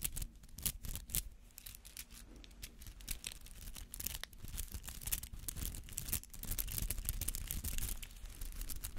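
A palm-sized white-green artificial flower made of rubber, with dense spiky petals, is held up and scratched with fingernails. The result is a quick, irregular stream of dry, bristly scratches and crackles over a low rumble, growing denser toward the end.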